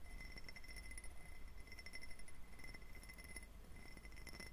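An empty, hollow, clear faceted glass tumbler with a diamond pattern is held close to the microphone and tapped and scratched with fingernails. Quiet, rapid clicks and light scratching blend over a low rumble. Thin, steady high ringing tones sound throughout.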